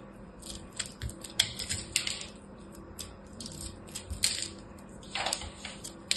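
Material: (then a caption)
Soap. A small blade cuts into a crushed ball of pressed blue and purple soap chips held between the fingers. It makes a run of dry, crisp crackles and quick clicks, mostly bright and high, with a few sharper snaps as the solid piece gives way.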